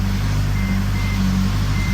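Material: Nothing is struck.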